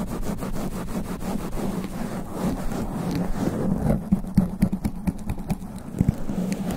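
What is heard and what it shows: Extra-long black nails scratch fast and aggressively across the top of a sponge foam microphone windscreen. The result is a dense, rough, low scraping rumble with rapid, uneven strokes, and louder, sharper bursts near the end.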